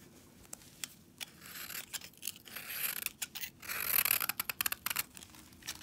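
A palm-sized green and blue foam sponge, frozen solid with soap, is held in brown knit gloves and shaved with a metal utility-knife blade, producing icy shavings. Quick, bright scraping and crisp shaving strokes come in bursts, with sharp clicks between them and a longer, louder rasping stretch near the end. The sound is almost entirely high and hissy, with very little low end.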